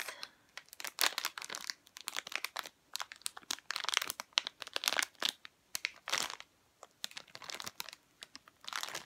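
A sealed, full, rectangular red plastic-film packet of McVitie's All Butter Shortbread, about 20 cm long, is held in both hands with long painted nails and squeezed and handled. Its wrapper gives bright, crisp crinkles and crackles in irregular bursts separated by short pauses, with almost no low end.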